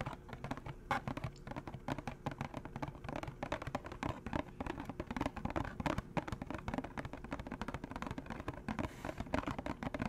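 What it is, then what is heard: Empty hollow cardboard box. A small, empty, hollow orange-and-green McDonald's cardboard box is held in one hand and tapped and scratched with fingernails. The result is a steady stream of quick, dry, hollow taps and scratchy rustles at low volume. Each sound dies away almost instantly, with a soft, muffled body and little brightness.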